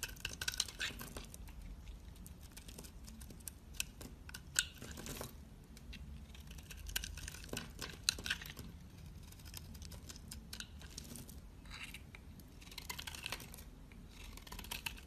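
A utility knife blade scrapes across a solid, hand-sized black bar soap, shaving curled flakes from its surface. The sound is a soft, steady run of crisp, crackling scrapes with bright, papery detail, and a few sharper ticks stand out above it. Quieter pauses separate the strokes, and a low hum sits underneath throughout.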